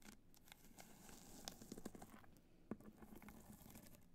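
Long nails scratch and tap the top of a hollow black hard-shell clutch covered in multicolor rhinestones, resting on white fur. A quiet, steady pattering scratch runs throughout with a low hollow tone, broken by a few sharper, brighter taps that stand out and die away almost instantly.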